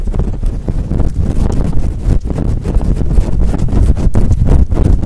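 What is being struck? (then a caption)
Faux fur microphone windscreen. Long nails scratch quickly and hard across a fluffy faux fur windscreen on a microphone while hands cup it. The result is a loud, continuous, dense rumbling scrape that sits almost entirely in the low end, with rapid dips and surges in texture and hardly any high or bright content.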